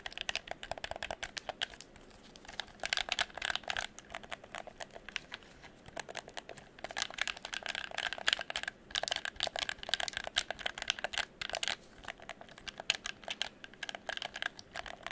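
A hollow red plastic game controller is turned in the hands while fingertips click its buttons and triggers and tap the shell. The result is rapid, dense bursts of small, dry, bright clicks with brief pauses between flurries, almost no low end, and no ringing after each tap.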